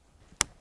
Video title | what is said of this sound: 2023 새해첫날 | 나무를 한번 이렇게 탁 손으로 쳐보니까 그 울림이 굉장히 나무가 단단하고 탄성이 굉장히 좋다는 이런 느낌이 듭니다